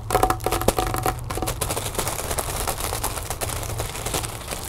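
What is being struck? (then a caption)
Inflated mylar foil balloon. A large inflated, hollow "Happy Birthday" mylar foil balloon is scratched and rubbed with the long nails of both hands. Dense, irregular crinkling and scratching fills the clip, starting with a few louder taps and tonal ringing. It then settles into a steady, bright rustle over a low hum.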